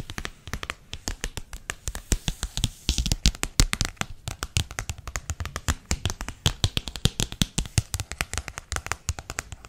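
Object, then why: Paperback book with glossy paper cover. Long painted nails tap and scratch the front and back covers of a medium-sized solid paperback book about crystals with a glossy paper cover, held in hand. A rapid, steady stream of short, dry taps with a low thump and bright clicky edges is heard, with scratching between them and almost no ring after each hit.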